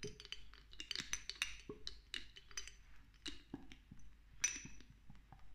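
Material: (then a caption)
Glass. A small amber glass dropper bottle of castor oil, with a green label and a dropper cap and partly filled with oil, is tapped quickly with long nails while the dropper is worked. This produces a rapid series of bright, short glassy clinks and ticks with very little ring, as the dropper knocks against the glass.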